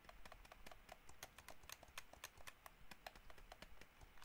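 Fingernails tap across the shell and buttons of a hollow white plastic gamepad. The result is quick, irregular, dry clicks with a hollow tone around 700 Hz and bright edges that stop almost instantly. The tapping runs steadily for about four seconds.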